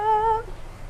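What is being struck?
Nothing is struck.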